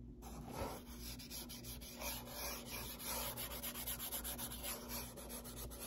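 Fingertips and nails rub and scratch the surface of a closed, hollow brown corrugated cardboard box with a white label and a hand slot, and the box is briefly tilted. Dry, bright scratching and rubbing strokes run continuously and overlap, over a steady low hum.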